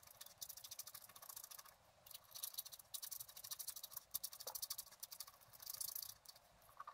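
A wooden stylus scratches repeated streaks into the coating of a flat, black-coated scratch art card to draw water jets. Quiet, bright, dry scratching comes in rapid bursts of short strokes with brief pauses between them, with almost no low end.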